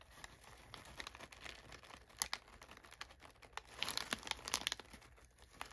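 Fingers and nails press, rub and scratch crumpled brown kraft packing paper inside an open box. The result is a dry, bright crinkling with many sharp crackles over a soft, steady rustle, growing busier toward the end.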